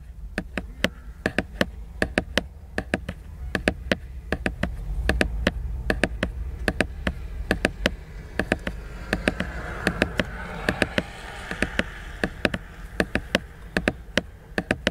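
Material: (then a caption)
Laminated paper. Fingertips tap the glossy laminated paper cover of a large picture book in a quick, uneven run of sharp, dry clicks that stop dead with no ring. A steady low rumble sits underneath throughout, and around the middle a soft, brighter rustle swells between the taps before fading.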